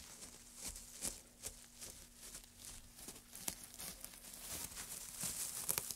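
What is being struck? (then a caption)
Pile of wood shavings. A gloved hand digs into and stirs a pile of dry wood shavings, then scoops some up and lets them drop. The result is a bright, crisp rustling and crackling with irregular sharp ticks, over a faint steady low hum.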